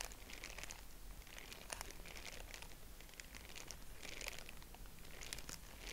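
Purple tissue-paper honeycomb is fanned open and pinched between fingertips, giving a steady run of soft, bright crinkles and papery rustles. The crackling comes in dense clusters over a low, constant background rumble.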